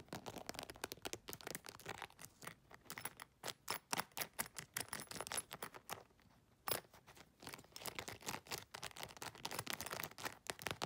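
Long nails rapidly tap and scratch the textured surface of an iridescent, embossed holographic faux leather makeup bag and near its metal zipper. The result is a dense run of crisp, bright clicks and scratchy rasps, with a brief quieter stretch near the middle broken by one sharp tap before the fast tapping resumes.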